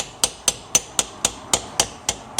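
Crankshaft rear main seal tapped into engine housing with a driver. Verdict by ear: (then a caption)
Seated. A new rear main crankshaft seal is tapped evenly around its edge into the engine's crankshaft housing with a driver and hammer. Nine sharp, bright taps sound at a steady pace, each a short high-pitched click that dies away almost at once. The change in the tap note shows the seal is fully seated and flush with the housing.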